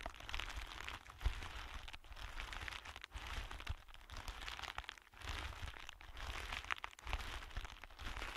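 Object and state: Clear plastic bag being crinkled.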